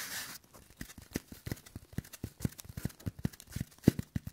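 Latex-gloved fingertips press, squeeze and scratch a hand-sized rectangular block of green floral foam (phenolic foam, likely moistened), solid and porous with a crumbled top edge, held close to the microphone. After a brief bright hiss, about two dozen short, dry, low crunching clicks follow in an uneven patter, each stopping instantly with no ring.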